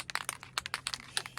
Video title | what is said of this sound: Poor RV Couple Struggle Repairing Vintage Winnebago Ceiling | shake this can really well. See if you hear that ball in there.